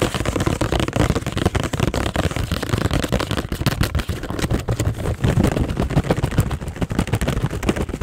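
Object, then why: Thin cardboard gum multipack box. Long acrylic nails tap and scratch quickly on the top of a green Extra gum multipack box made of thin cardboard, about 25 cm long, with gum packs showing at its open front. A dense, fast run of dull, low-heavy tapping and rustling continues steadily with little brightness. Near the end the box is tilted and handled.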